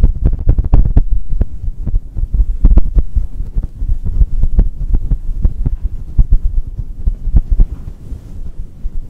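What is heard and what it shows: A small, hollow, fluffy grey-and-white faux fur windscreen fitted over a black microphone is rubbed and squeezed with the fingertips and palms of both hands. This produces a steady stream of muffled, deep thumps and throbbing rumble, with almost all of the sound sitting very low and no bright content.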